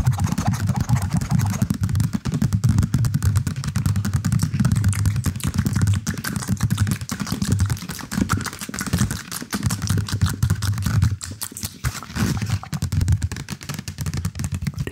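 Fingertips and nails scratch the textured surface of a soft, stuffed, beige and blue knitted yarn cylindrical cushion close to the mic. The result is a dense, continuous run of quick, muffled scratches and soft taps, heavy in low rumble with little brightness.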